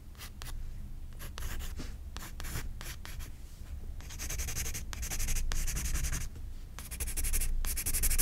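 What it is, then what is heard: Pencil shading on a paper sketchbook page. A pencil scratches across the page of a spiral-bound paper sketchbook lying flat while shading a portrait. Short, dry, scratchy strokes come in quick irregular bursts, starting softer and growing into denser, brighter hissing runs toward the end, over a faint low hum.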